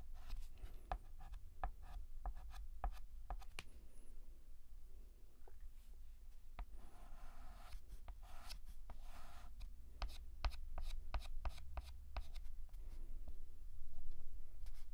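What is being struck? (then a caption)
Chalk on a painted blackboard. A hand draws vertical and horizontal lines on a large, flat, painted black chalkboard with a stick of white chalk. Quick, bright, scratchy strokes and taps repeat at an uneven pace, with a few longer rubbing scrapes in the middle. A steady low hum runs underneath throughout.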